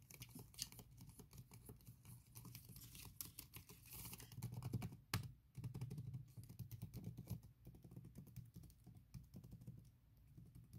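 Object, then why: Laptop keyboard with silicone skin. Long red nails tap and click on a MacBook Pro keyboard covered by a thin silicone skin, with slower rhythmic nail taps and scratches across the keys. The taps come as soft, irregular clicks with short, dull decay, and a brief brighter burst near the middle.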